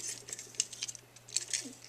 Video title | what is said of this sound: Fixing a Refrigerator Compressor that Won't Start, Compressor Relay, Condenser Fan Motor | if you pull it off and shake it, it rattles